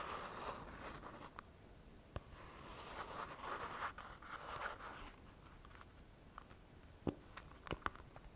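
A pink plastic cosmetic tube is rubbed and scratched with fingertips and nails. Soft, papery scratching swells and fades in long strokes, with sharp clicks and taps scattered between them.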